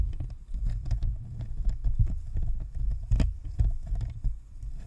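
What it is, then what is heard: Plastic USB microphone shell tapped with nails. Long nails tap rapidly on the top of a white, hollow, spherical plastic shell of a plastic and metal Blue Snowball USB microphone, giving typing-like clicks. Heard close up, the taps come out as a dense run of short, muffled, low thumps with almost no high-end sparkle.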